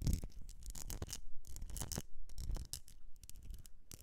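Long nails scratch and tap the sides of a medium etched glass jar filled with solid wax. It makes a quiet, continuous run of short scratchy strokes and light taps, with bright hissing bursts over a dull, low, muffled thud that barely rings out.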